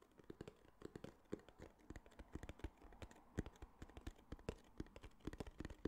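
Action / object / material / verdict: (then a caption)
tap / small kraft cardboard box / cardboard / none. Fingertips and nails tap quickly on a small, hollow tan kraft cardboard case. A rapid, uneven run of short, dull taps with low, hollow thumps and light clicks, each dying away almost instantly.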